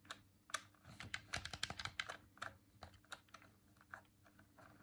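Thumbs repeatedly press and click the colored face buttons on a hollow white plastic Dreamcast controller held in both hands. The result is a quick, uneven run of sharp, bright, dry plastic clicks with no ring, bunched most densely in the middle, over a faint low steady hum.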